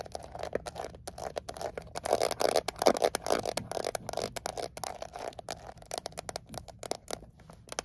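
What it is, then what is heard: Metal mint tin. Long acrylic nails tap and scratch quickly across the lid and edges of a small, closed Altoids peppermint tin made of thin painted metal. Dense, uneven bursts of sharp clicks and scratchy scrapes carry a brief tinny ring around 570 Hz that dies away almost instantly. The sound is busiest and loudest in the middle, then thins out toward the end.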